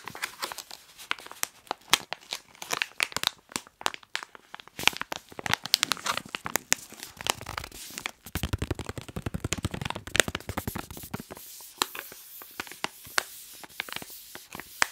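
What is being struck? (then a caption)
Plastic snack wrapper. Hands crinkle and rub a hand-sized white printed plastic snack wrapper while fingertips tap it. A fast, dense stream of crisp, bright crackles and sharp clicks runs throughout, with a fuller rustling stretch around the middle.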